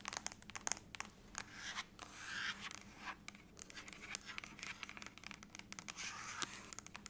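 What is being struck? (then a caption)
Aluminum laptop lid. Long nails tap and scratch across the top lid of a closed silver aluminum laptop lying flat. Quick, bright clicks come in an uneven run, mixed with longer scratchy swishes over a faint low hum.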